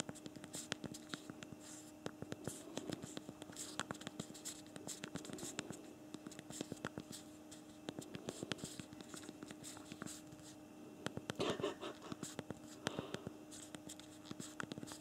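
Thumbs type on the backlit plastic keyboard of a BlackBerry Priv smartphone, producing a rapid, irregular stream of short, sharp key clicks. A faint steady hum sits underneath, and the clicks bunch into quicker bursts around the middle and near the end.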